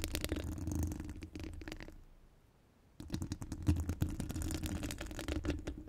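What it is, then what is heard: Metal microphone grille. Long orange acrylic nails on both hands scratch and tap the round steel mesh grille of a large studio microphone, a hollow mesh dome. Dense, rapid scratching and clicking comes through with a heavy, boomy low rumble. It fades to near silence for about a second, then resumes just as busy, with a few sharper taps.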